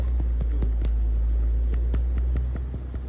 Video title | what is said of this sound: AUT 250 EGR LAB | if it rattles that means we have a good PCV valve